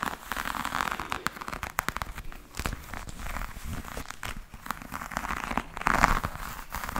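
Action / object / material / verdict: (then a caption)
scrape / textured faux leather hard case / faux leather / none. Long nails scratch and tap across a black, glossy, croc-embossed faux leather hard case with a hollow shell, held close to the mic. The sound is a dense run of short, dry, crinkly clicks and rasping scrapes with a brief hollow knock. Louder swells come near the start and around the sixth second.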